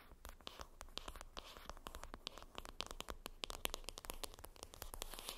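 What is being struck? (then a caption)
Cardboard palette box. Long acrylic nails scratch and tap across the top of a flat, rectangular, hollow printed cardboard makeup palette box lying flat. The result is a rapid stream of sharp, dry clicks and crinkly scratches with bright edges over a faint low hum, each tap dying away almost instantly.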